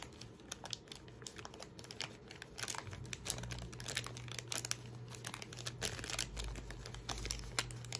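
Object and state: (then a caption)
Paper receipt being crumpled. A thin paper receipt is crumpled, rubbed and folded between the fingertips next to a backpack. Dense, bright crinkling and crackling runs throughout over a steady low hum.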